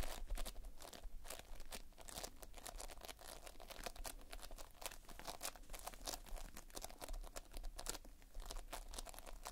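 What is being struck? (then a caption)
Playfoam, tiny foam beads in a sticky binder. Fingertips press into, pinch and scratch the surface of a large, flat mass of multicolored Playfoam, made of tiny foam beads held in a sticky binder. The result is a steady, dense run of quiet, crackly crunching and crinkling, full of short bright snaps over a low rumble.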